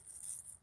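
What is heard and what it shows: Dry, crispy leaves on a struggling raspberry bush are crunched by hand, giving a brief, bright, brittle crackle concentrated in the high range. The leaves are dried out, likely from heat of 110–111 degrees.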